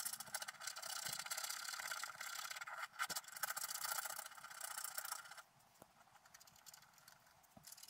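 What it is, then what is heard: Scratch-art paper being scratched. A wooden stylus scratches repeated strokes across the gold area of a flat, black-coated scratch-art paper sheet lying on a table. It makes a dense, bright, rasping scrape. After about five and a half seconds the scratching drops away, leaving only faint, occasional light scrapes.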